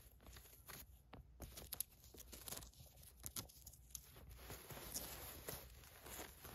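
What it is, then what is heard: Polyester mesh basketball shorts. Long nails scratch along the black and white striped knit waistband with drawstring and across the mesh of paisley polyester mesh basketball shorts. The result is a quiet, dense run of dry, bright scratching and crinkly rasps, with short sharper strokes rising here and there.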